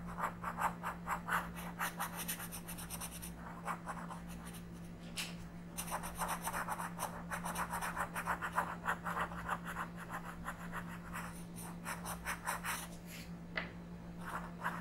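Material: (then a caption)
Paper. A green colored pencil scratches and rubs across a flat paper coloring book page while coloring, making quick, dry, papery strokes in bursts with short pauses. A faint steady low hum runs underneath throughout.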